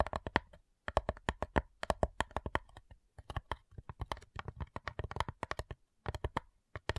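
Long nails tap rapidly on the lid of a flat, hollow cigar box made of light wood, in quick bursts separated by brief pauses. Each tap is a short, dry click with a hollow knock centred near 920 Hz, a low thump underneath and almost no ring.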